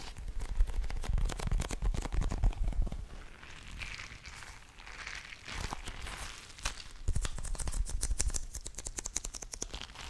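A palm-sized blue soft rubber (TPR) squishy stress ball, full of water beads, is held close to the microphone and tapped and scratched with long nails and fingertips. Quick, uneven taps with dull low thuds dominate the first three seconds and the last three, while softer scratchy rubbing fills the quieter middle.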